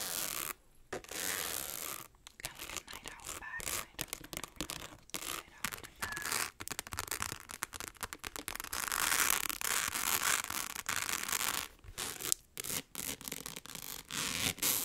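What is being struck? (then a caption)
Rhinestone-covered clutch purse. Long acrylic nails scratch and rub quickly across a small, hollow, rectangular clutch purse covered in rhinestones. The result is a dense, bright, crackling scratch texture, broken into rapid bursts by brief pauses, with almost no low end.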